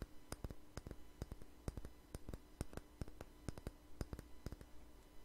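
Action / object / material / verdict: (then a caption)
tap / small lidded jar / unknown / none. A small jar with a red label and lid is held in the hand and tapped with fingernails, producing a quiet, irregular run of about two dozen short, sharp clicks. Each tap is crisp and dies away almost instantly over a faint low hum.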